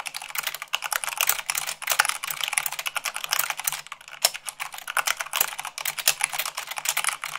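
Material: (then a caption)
Plastic. Fast typing with fingertips and long nails on a mechanical keyboard with white plastic keycaps on a black base, at about 98 words per minute. A dense, steady stream of crisp, bright key clicks and clacks is heard, each dying away almost instantly, with a few sharper, louder strikes standing out.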